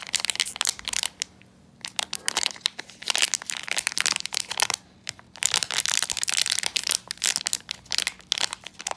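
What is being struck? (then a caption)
Metallized plastic foil pouch. A small, sealed black blind bag of metallized plastic foil with a pin inside is held in both hands while fingertips squeeze and crumple the foil. Dense, bright crinkling and crackling comes in bursts, with brief quiet gaps near 1.5 and 5 seconds. A faint low steady hum sits underneath.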